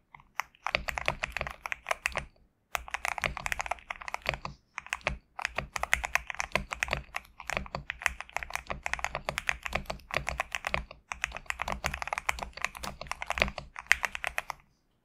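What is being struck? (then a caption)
Mechanical keyboard with plastic keycaps. Fingertips of both hands type rapidly on a GMK67 compact 65% mechanical keyboard with a plastic case, PBT keycaps and Gateron switches, resting on a desk mat. Dense runs of short, crisp, bright clicks and clacks fill the clip, with brief pauses near 2.5 and 4.8 seconds. Each keystroke ends almost instantly, with no ring.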